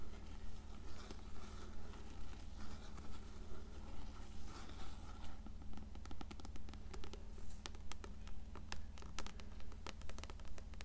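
Long nails scratch and tap the cover and spine of an upright, closed blue paperback copy of Coraline. Soft, steady scratching pulses at a regular rhythm over a constant low hum, with sharper, brighter taps joining in during the second half.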